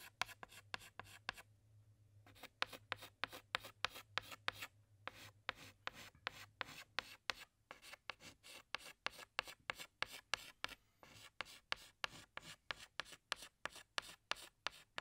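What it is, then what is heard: Chalk on chalkboard. A hand scratches a tan chalk stick across a large, flat black chalkboard while drawing flower petals. About 40 quick, dry, bright scraping strokes follow one another in a steady rhythm, with brief pauses near 2 and 5 seconds. A faint low hum sits underneath throughout.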